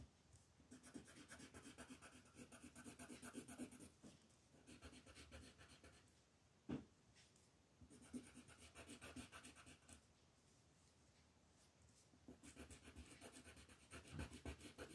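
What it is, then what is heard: Colored pencil shading on paper. A yellow wooden colored pencil rubs rapid shading strokes across a flat paper coloring page on a table. The result is soft, bright, scratchy rasping in fast back-and-forth bursts, separated by brief quiet pauses, with one sharper tap in the middle.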